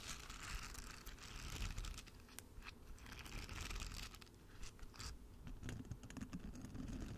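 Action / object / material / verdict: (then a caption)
scrape / silicone nubbed mat / silicone / none. Long fingernails scratch and rake across the rows of short nubs on a flat, palm-sized pink silicone bristle mat held in both hands. The result is a dense, continuous stream of soft scratchy clicks and crinkly ticks over a low, rumbly base. Bright, hissy bursts swell and fade throughout.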